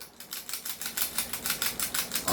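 A cheap airsoft pistol is held by its compensator and shaken, and its loose metal outer barrel rattles in a quick run of about fifteen bright, clicky knocks. The barrel is not fixed, unlike on a unit with a fixed outer barrel.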